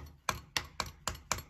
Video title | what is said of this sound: РЕМОНТ В УБИТОЙ КВАРТИРЕ № 6💜🛠 Блеск и нищета💥 Качество БЕЛОРУСКОЙ ПЛИТКИ😱 🤮 | я стучу по обычной стене более звонкий звук здесь